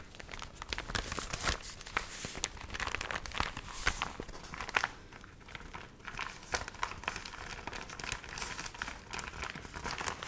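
A dried, water-wrinkled paper magazine with wavy, stiff pages is flipped open, then flexed and crinkled in both hands. Dense, bright crinkling and crackling runs throughout as many short, dry bursts, with a few louder crunches standing out.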